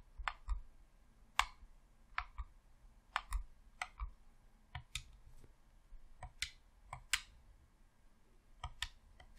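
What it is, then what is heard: Plastic game controller buttons clicking. A thumb clicks and presses the left thumbstick and buttons of a hollow red plastic Xbox controller. About fourteen short, dry plastic clicks sound at irregular intervals, each snapping bright with a faint low thump beneath, separated by quiet gaps.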